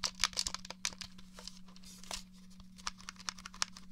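Fingertips and nails tap and click the buttons and shell of a hollow, grey plastic, three-pronged Nintendo 64 controller. The result is a quick, irregular series of sharp, bright plastic clicks and taps with a faint crinkly texture, each dying away almost instantly, over a steady low hum.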